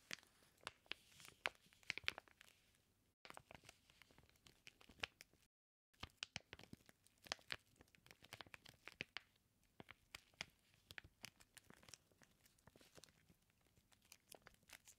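Fingertips scratch and rub the clear plastic of a flat, sealed package of raw bacon slices. The result is a dense run of quiet, bright crinkling and scratchy, tearing-like clicks, broken by brief silent gaps near 3 and 5.5 seconds.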